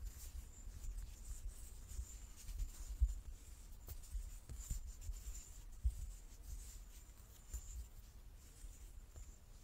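A large, solid light-wood die with dark pips is held in both hands and turned in the palms while fingertips and nails rub and slide over its faces. Quiet, dry scratching and brushing textures sit over a soft low rumble, with a few faint knocks scattered irregularly through the clip.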